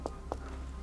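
Two short, dull knocks on a non-wood decor element inside an abandoned theme park dome, each a brief midrange thud around 500 Hz that dies away almost instantly. A steady low hum runs underneath, and the knocks sound solid but not like wood.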